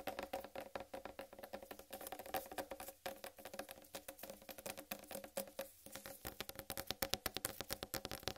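Long red nails on both hands tap rapidly on the rind of a large, solid whole watermelon resting on a dark table. The result is a dense run of quick, dry clicks with a hollow tone around 550 Hz and bright edges. Each tap dies away almost instantly, with brief pauses.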